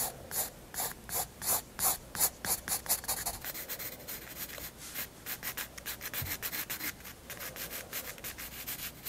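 A graphite 7B pencil held in the fingers shades a large white page of a spiral-bound sketchbook lying flat and solid on a wooden desk. Quick back-and-forth strokes make bright, hissy rubbing and scratching sounds. The strokes are louder and more distinct at first, then continue as a faster, steadier series of softer strokes.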